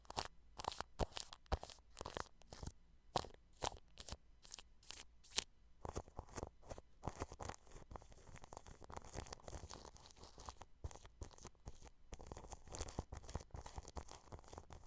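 A paintbrush pokes and brushes clear plastic cling film wrapped over a microphone grille, producing crunchy, crinkling bursts. Separate sharp pokes come first, then the brushing turns into a denser, continuous crackle with bright, high hiss and a low thump underneath.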